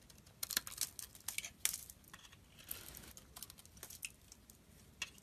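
A metal blade scrapes and carves a solid, dry, translucent yellow soap bar with grooved grey-coated sides, held in the hand, as dry shavings come off. The result is a quiet run of crisp, bright scratches and crackles, with short sharp strokes and a longer rasping scrape in the middle, each cutting off almost instantly with little low end.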